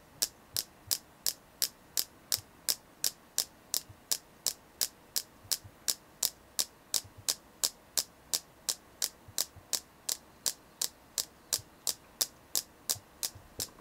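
A selenite crystal is tapped in a steady, quick rhythm of about 39 short, dry clicks, close to three per second. Each tap is bright and crisp with almost no ring or low end, over a faint quiet hum.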